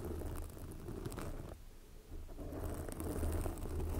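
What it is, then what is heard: Foam microphone windscreen being scratched. Long glossy black fingernails on both hands scratch a soft, porous red foam windscreen covering a microphone. The result is a dense, muffled, low rumbling scrape with a little bright crackle on top. It thins to a near pause midway, then returns at a steady level.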